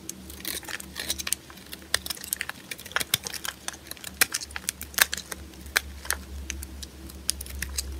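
A small blade with a yellow handle cuts and scrapes shavings off a solid white oval bar of dry soap held in the palm. Rapid, crisp, bright clicks and scratchy snaps come in quick irregular bursts over a steady low hum.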